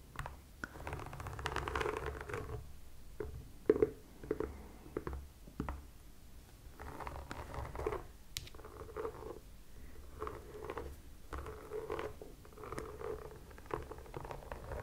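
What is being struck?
Rubber sneaker sole.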